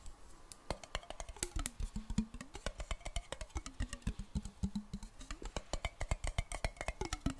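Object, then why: Glass jar with metal lid, partly filled with water. Long black nails tap quickly on a clear glass jar with a metal lid, partly filled with water. Sharp, short clicks come in a fast, uneven stream, with a faint low tone underneath that rises and falls in pitch.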